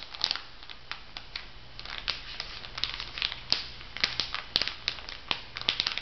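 Fingers squeeze and crinkle the plastic wrapping of a makeup sponge pack mounted on a paper card, then lay it flat and rub it with their fingertips. The result is a steady stream of bright, crisp crackles and sharp snaps over a soft hiss, with almost no low end.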